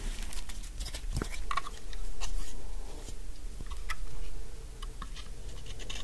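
A large, solid, dry pink soap bar held in the hand is cut into chunky flakes with a utility knife blade. Repeated scraping, crunchy cuts and light flake patters come in uneven swells over a low, steady hum.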